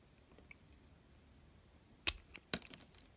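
A metal carving knife shaves and scrapes thin curls off a solid, hand-sized bar of soap with a red coated surface and white interior, held in the fingertips. After a quiet stretch, two sharp, bright scraping crunches stand out, followed by a few softer scrapes that stop almost instantly with no ring.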